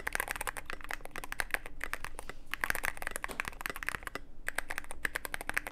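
Fingertips of both hands type continuously on a Cyberboard mechanical keyboard with plastic keycaps and a dark case. The result is a rapid, steady stream of short, bright clacks with a midrange ring around 1.6 kHz, each dying away almost instantly, over a faint low hum.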